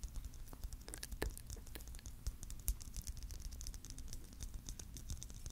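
A palm-sized, hollow clear plastic Christmas bauble filled with glitter is held in both hands and tapped and lightly scratched with fingertips and nails. A rapid, irregular stream of soft taps and crisp, bright scratchy clicks runs throughout, each dying away almost instantly over a quiet low rumble.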